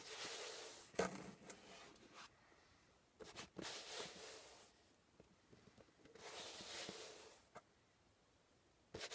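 A flat palm rubs the top of a closed corrugated cardboard shipping box with a label, resting on a table. Soft, bright, hissing swells of friction rise and fade in several passes, broken by a few sharp, crisp ticks and taps, with near-silence between strokes.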